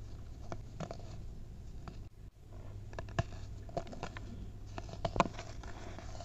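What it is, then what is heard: Baking soda powder crumbling. Both hands squeeze and crumble clumps of packed white baking soda over a mound of the powder. Soft, dry crackling and scratchy crunches sit over a steady low hum, broken by a brief near-silent gap early on. A few sharper crunches stand out in the second half.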